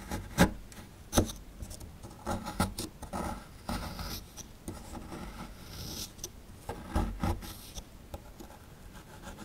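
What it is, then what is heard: Plaster dig block being scraped. A chisel tool scrapes and digs into the lower edge of a small, solid plaster fossil excavation block. Gritty, rasping scrapes mix with sharp, short clicks and taps, some louder than the rest. The tone is mostly low and dull with little ring after each strike.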